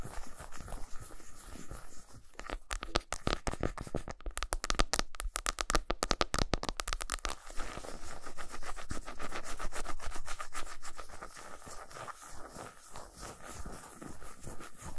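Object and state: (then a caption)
Milk chocolate bar. Long pointed nails scratch the flat, smooth back of a solid milk chocolate bar resting on a towel, making quick, dry scraping strokes. A louder burst of sharp, bright scratches runs from about 2.5 to 7.5 seconds, then settles into steady, rapid, fine scratching with short, quiet decays.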